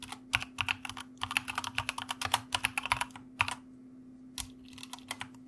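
Both hands tap the keys of a white plastic mechanical keyboard with their fingertips, producing a quick run of sharp, bright clicks over a faint steady low hum. The typing pauses briefly near the end, then resumes with a few more scattered keystrokes.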